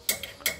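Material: Steel.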